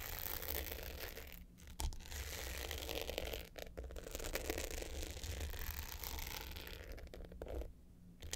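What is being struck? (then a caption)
Hard-shell glitter clutch with metal frame. Long pointed nails scratch the dark blue glitter top of a small, rectangular, hollow hard-case clutch with a gold metal frame that is lying flat. The result is a dense, gritty scraping texture over a steady low hum, with brief pauses before the scratching resumes and fades quieter at the end.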